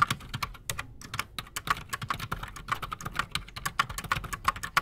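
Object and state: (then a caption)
Mechanical keyboard with PBT keycaps. Both hands type fast with their fingertips on a solid, full-size black Redragon Shrapnel K589 mechanical keyboard with Outemu Silent Sky silent switches and Razer PBT plastic keycaps, resting on a desk. The result is a quick, continuous stream of short, muted, clacky keystrokes with a brief bright tick on each press and a soft, low thump underneath.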